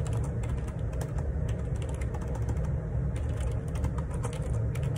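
Fingertips type steadily on the plastic keycaps of a black Perixx Periboard 612 wireless Bluetooth dual ergonomic split keyboard with a hollow plastic housing, lying on a grey laminate desk. A continuous run of short, dull clicks and taps rides over a heavy low thump, with brighter key clatter flickering throughout.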